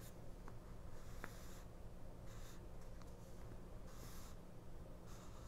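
A fingernail slowly scratches down the price list of a small 1999 paper mini-book, an open paperback booklet lying flat on a cloth while the other hand holds the page. Soft, papery scratching comes in brief bright hissy bursts over a quiet, steady low hum.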